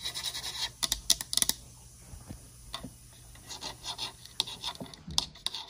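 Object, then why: Painted layered wooden sign. Long nails scratch and tap the painted boards of a solid, flat, layered wooden Halloween sign reading "Welcome My Pretties," painted orange and black. Bright, dry scratching bursts alternate with sharp, quick taps that die away at once, with a quieter stretch of light rubbing in the middle.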